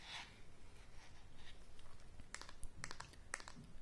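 Long fingernails tap and scratch along the solid wooden handle of a paddle hairbrush. Soft, faint scratching in the first half gives way to sharp, bright clicks in the second half, each dying away almost instantly over a low, quiet background rumble.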